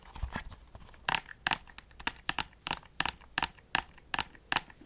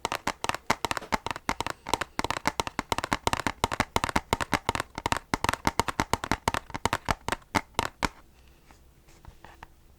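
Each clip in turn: First: brittle plastic disc case. Second: steel game case, bare metal.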